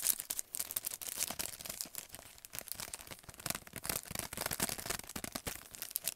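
A long, narrow paintbrush set package, a clear plastic sleeve on a printed cardboard backing, is held in both hands and worked over with fingertips and nails. Rapid, bright plastic crinkling mixes with quick, dry taps that stop almost instantly, with very little low end.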